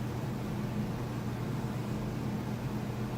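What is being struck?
Nothing is struck.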